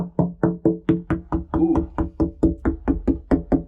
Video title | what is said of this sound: Getting our Sailboat ready to SAIL South [E270] | that's really not sounding good